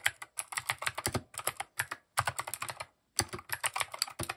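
Fingertips type quickly and continuously on a compact mechanical keyboard with cream, grey and orange plastic keycaps and RGB underglow. Rapid, sharp, bright clacks with a light low thump come in bursts, broken by two brief pauses.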